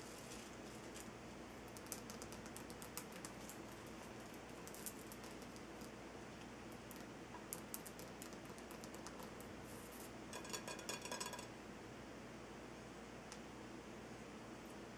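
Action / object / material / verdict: tap / salt crystal lamp / rock salt / none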